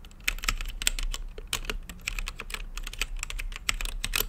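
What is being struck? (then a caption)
Mechanical keyboard with plastic keycaps. Fingertips type steadily on a mechanical keyboard with plastic keycaps and a translucent lit case. The quick, bright clacks come in an uneven rhythm, each dying away almost at once over a faint, steady low hum.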